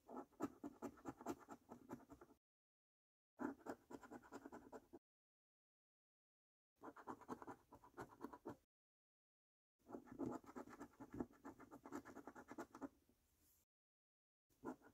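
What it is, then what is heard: Scratch card coating scraped with a coin. A coin held in the fingers scratches the latex coating off a thin, flat paper scratch card. The scratching is a dense, raspy sound centred in the low-mids with a bright edge. It comes in several bursts separated by stretches of complete silence.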